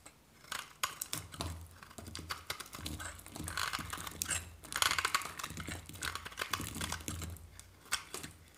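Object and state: Dry bar soap being scraped.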